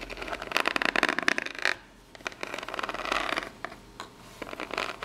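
Long natural nails scratch and tap the ribbed surface and edges of a small corrugated cardboard box. Dense, bright, crackly scratching bursts fill the first part, fall silent for a moment, then return as lighter scrapes and taps.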